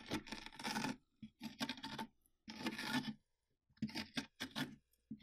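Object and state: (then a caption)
Hollowed-out pumpkin, inner wall scraped. Fingertips scrape and rub the inner flesh wall of a large, mostly emptied orange pumpkin with an open top, while the other hand holds the rim. Short bursts of wet, rasping scratches with a bright, hissy edge alternate with brief silences. The scrapes stop quickly, with almost no hollow ring after each one.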